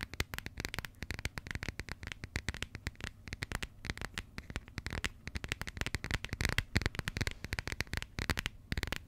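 Long nails rapidly tap and scratch the textured coated cardboard cover of a small, closed burgundy passport. Dense dry clicks and short scratches come with a low thumpy body and bright edges, each tap dying away almost instantly.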